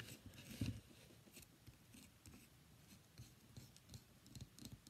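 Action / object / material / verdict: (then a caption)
tap / bar of soap / soap / none. A solid, cream-white, rectangular, palm-sized bar of soap with embossed lettering is held in one hand and tapped and scratched with long fingernails. Quiet, dull, low-heavy taps mix with dry, bright scratching rasps, and the loudest tap comes early. Each sound dies away quickly.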